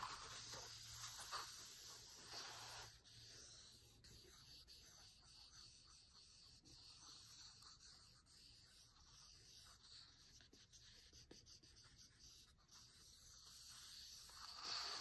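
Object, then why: Paper-covered board book cover. Fingertips and nails tap and trace across the matte olive, paper-covered board cover of a large, closed hardcover cookbook. The result is a quiet, bright, hissy scratching and rubbing, broken by soft, irregular taps.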